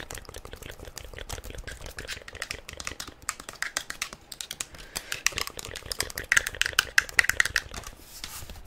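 Long nails tap fast on a hollow, black hard-plastic inline roller skate boot with mesh panels and plastic wheels, held in hand. The result is a rapid, dense stream of dry, bright clicks with almost no low end and no ring. The taps grow louder and sharper around six to seven and a half seconds, then ease off at the end.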